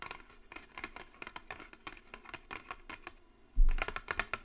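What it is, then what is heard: Cardboard box tapped with fingernails. Long nails tap the top of a white Jisen cardboard brush set box, producing many quick, light, dry taps with bright clicky edges. Near the end the taps turn suddenly louder and heavier, with a low thump under them.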